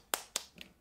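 Frozen, uncooked fried-pastry dough is tapped, giving two sharp, bright, clicking knocks and a softer third tap, each dying away almost at once with no low body. The pastries are frozen solid, which is normal here, since they go straight into hot oil without thawing.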